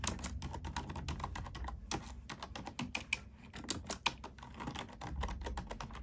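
A black plastic computer keyboard is typed on with fingertips and long nails, giving a rapid, uneven stream of short, bright plastic clicks and taps. The clicks die out almost instantly, with a few louder taps standing out over a steady low rumble underneath.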